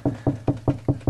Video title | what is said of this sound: How to add a duplex outlet to a kitchen...Part 5 | when it you hear the lower noise that's Hollow that's a hollow cavity